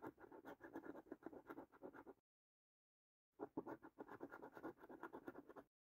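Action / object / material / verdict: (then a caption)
scrape / thin cardboard scratch card with latex coating, scratched with a coin / cardboard / none. A coin held in the fingertips scratches the lower latex panels of a thin cardboard paper scratch card with a latex coating. Rapid, dry rasping strokes come in two bursts, with about a second of silence between them.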